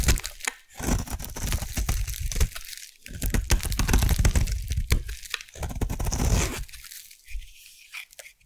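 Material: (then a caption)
Soap. A solid white bar of soap held in the hand is carved into flakes with a metal blade, giving dense, crackly scraping and crunching strokes with a heavy low thud. The carving comes in bursts separated by brief pauses, then turns quieter and sparser toward the end as the flakes come away.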